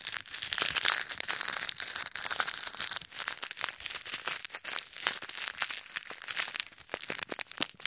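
A small clear plastic bag full of pink, red and white plastic pearl beads is squeezed and crushed with both hands, then pressed with fingers over ear microphones. The result is a dense, bright crinkling of plastic with rapid clicks of shifting beads and almost no low end. The sound thins and quiets slightly toward the end.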